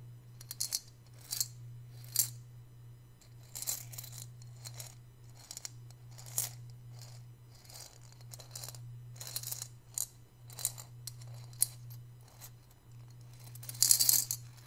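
A small, hollow white glazed ceramic piggy bank with coins inside is held in both hands and tilted and shaken, so the coins rattle around inside. The result is irregular bursts of bright, high-pitched clinking and jingling that stop quickly, over a steady low hum.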